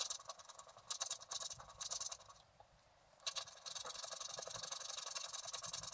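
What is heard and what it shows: A wooden stylus scratches the upper area of a flat scratch-art sheet of black wax-coated paper while the other hand steadies the sheet. Bright, hissy scraping strokes come in bursts, pause briefly near the middle, then return as a steadier run of quick scratches.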